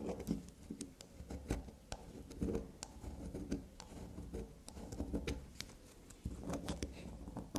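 A small, solid bar of shaved black soap is scratched and pattered quickly with long black nails. It gives a soft, dense run of light taps and scrapes, with brief bright clicks over a low, muffled rustle.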